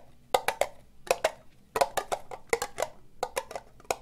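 Long nails tap slowly on a hollow, empty, orange ribbed plastic cup. Seventeen short, dry clicks fall in loose clusters, each with a hollow knock near 500 Hz and a bright, crisp edge that dies away almost at once.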